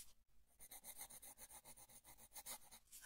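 A colored pencil makes quick scratching strokes across the printed line art on the flat paper page of an open coloring book. After a brief gap near the start, about a dozen dry, bright rasping strokes follow in a quick, uneven rhythm. The sound is quiet and has no ring after each stroke.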